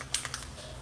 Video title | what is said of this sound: Heather Mader Live @5pm PST - High Flow & Flower Cup that Fiona Art Uses | you want to shake it until you hear that little ball